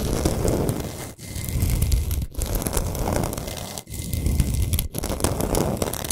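Long nails scratch quickly along the sides and edges of a large, flat, solid pink Himalayan salt block. The result is a dense, gritty rasping with a heavy low rumble, broken by a few brief pauses between strokes.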